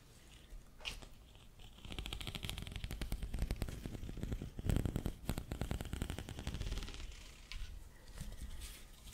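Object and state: Corrugated plastic tube.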